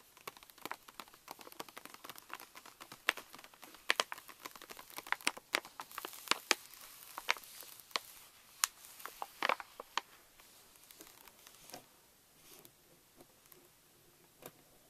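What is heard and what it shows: Long nails and fingertips tap and scratch the front of a pink Reese's pouch made of plastic foil laminate resting on a table. Quick, sharp, bright crinkly taps and scratches come in a dense run, then thin out and grow quieter toward the end.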